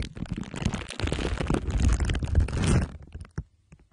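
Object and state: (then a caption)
Foil-wrapped microphone rubbed with glue sticks. A microphone head wrapped in crumpled aluminium foil under clear plastic wrap has glue sticks pressed and rubbed along its sides and top. The result is dense, low, rumbling crinkles and scratchy rubbing that build to a sustained peak. It then thins out to a few sparse crackles at the end.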